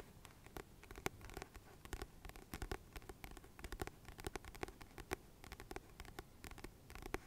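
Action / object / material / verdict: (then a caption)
tap / paperback book with glossy card cover / card / none. Fingertips and nails tap and scratch the glossy paper cover of a solid, medium-sized paperback book held in the hands. The result is a quiet, rapid string of dozens of short, dry taps and scratches, each with a brief bright edge. They sit over a low, soft body with a mid-low tone and almost no ring.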